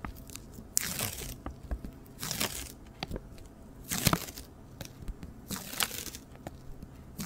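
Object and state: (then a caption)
Cardboard hat box scratched and tapped. A hollow, white cylindrical cardboard hat box used as a flower box is held up and scratched and tapped on its curved side with long nails and fingertips. Bright, crunchy scratching swells come in irregular bursts, with soft, dull taps between them.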